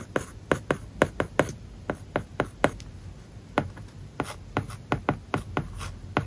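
A stylus writes an English word and kanji on an iPad whose glass screen is covered with a matte plastic paper-like film. About twenty short, dry taps and scratching strokes come in quick, uneven bursts, each dying away almost at once over a faint background hiss.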